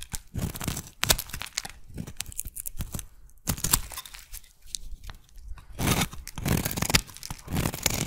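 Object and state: Bar of soap being shaved.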